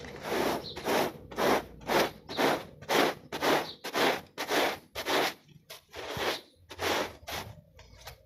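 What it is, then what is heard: Pile rug being scrubbed. A small, foot-shaped, dirty textile pile rug, soaked and foamy with soap, is scrubbed by hand with a plastic bristle brush. About 16 wet, squishy, scraping strokes come in a steady back-and-forth rhythm, each a broad hiss reaching high into bright tones, with short gaps between them.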